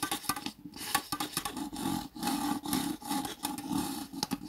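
A small, thin, hollow, empty red disposable plastic cup with ribbed sides lies on its side while fingertips and nails scratch and rub along its ribs. The result is a dry, raspy scraping with a steady hollow resonance, broken into many quick taps and ticks that stop and start again in short bursts.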